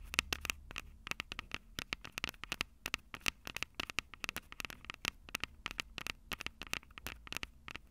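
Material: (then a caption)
Metal mesh. Long purple acrylic nails tap and scratch the two small crossed metal mesh microphone capsules of a Tascam DR-05 handheld recorder, which has a hollow plastic body. Rapid, irregular sharp clicks and scratchy taps are heard, bright and dry with almost no ring, over a faint low rumble.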